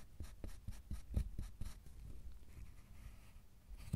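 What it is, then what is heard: Milk chocolate bar being scraped. A metal loop tool scrapes and a metal pick scratches the surface of a solid milk chocolate bar. A quick series of short, dull scraping strokes is followed by a softer, steadier scratching with a faint bright hiss, then one more sharp stroke at the end. The sound is quiet, low and dry, with no ring after each stroke.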